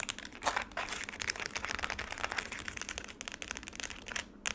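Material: Ice.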